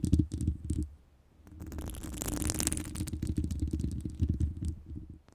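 Long pointed nails on both hands scratch over the round, hollow woven metal wire grille of a microphone. The result is a deep, boomy rumble of rapid scratches: a burst at the start, a brief near-silent pause, then steady scraping with a brighter hiss that swells in the middle before fading out.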